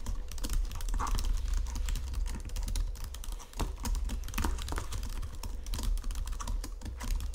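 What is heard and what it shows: Fingertips and nails type steadily on a white plastic Logitech computer keyboard resting on marble, producing a dense run of short, crisp key taps and clicks. A low, constant hum sits underneath the quick, dry keystrokes throughout.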